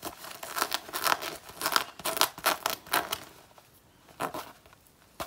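Long natural nails scratch and claw at the worn chest panel of a black faux leather jacket until its coating starts flaking off. The result is a fast, irregular series of dry, bright, scratchy rasps and crinkly tearing scrapes, with almost no low end. The strokes thin out after the first three seconds, leaving a couple of softer scrapes and one final sharp swipe.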